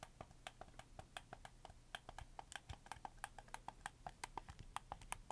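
A red camo plastic PS4 game controller is held up in both hands while fingertips rapidly tap and click its shoulder buttons and triggers. The result is a quick, uneven series of about 33 short, dry plastic clicks with a bright, slightly hollow tone over a low, steady hum.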